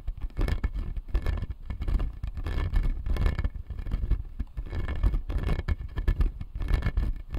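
Fingertips and nails scratch and tap the blue resin molars on the lower arch of a clear acrylic dental jaw model. The result is a steady, dense stream of soft, low, muffled scraping and rapid light tapping with little high-frequency content.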